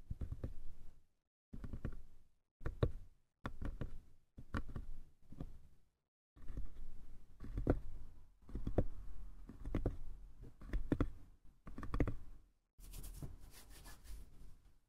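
Fingertips and nails tap and scratch the lid and sides of a small, light, hollow wooden box with a hinged lid, a brass clasp and a painted pink scale pattern on top. Short bursts of soft, low, dull knocking are separated by brief silences, with no ring after each tap. Later, denser stretches of tapping run together, and the clip ends in a steady, brighter scratching.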